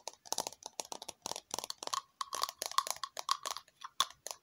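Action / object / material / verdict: tap / small plastic cup-shaped container / plastic / none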